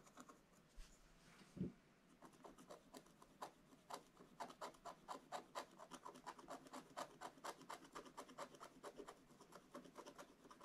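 A wooden stylus held in the fingers scratches a black wax-coated rainbow scratch-art paper page in a scratch book, lying thin and flat on a table. About forty short, dry rasping strokes follow one another at a quick, uneven pace, each a brief bright scrape with no ring. A single low thump sounds early on.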